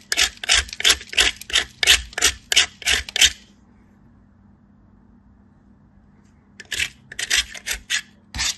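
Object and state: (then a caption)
Soap bar grated on a metal grater. A wedge of solid white soap is grated on a handheld metal grater held by fingers with blue nails. A quick run of bright, raspy scraping strokes is followed by about three seconds of near silence, then a second run of strokes.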